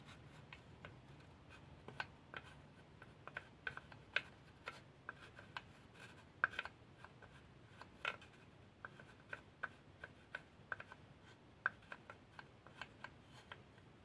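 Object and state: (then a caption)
Empty unfinished wooden pencil box. A small painted wooden spoon scrapes and rubs the inner bottom and walls of an empty, unfinished wooden pencil box, a small hollow plain light wood box with a sliding lid. A soft, continuous rasping is broken by dozens of sharp little clicks and knocks with a hollow woody tone around 1.5 kHz and bright edges. Each knock dies away almost at once.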